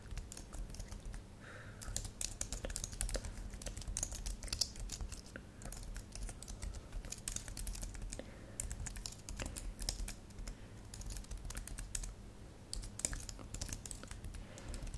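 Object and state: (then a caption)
Plastic computer keyboard. A thin white and silver computer keyboard with solid plastic keys, lit purple, is typed on with long manicured nails and fingertips. Rapid, irregular tapping and clicking of the keys runs throughout. The clicks are short and bright over a low background hum, with brief pauses between bursts.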